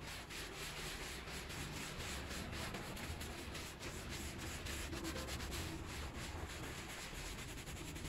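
A small, foamy, bear-shaped pile rug is scrubbed in circular strokes with a white handheld scrub brush held in a gloved hand. The bristles make a steady, bright, rhythmic rubbing and swishing over the wet textile, with a low rumble underneath throughout.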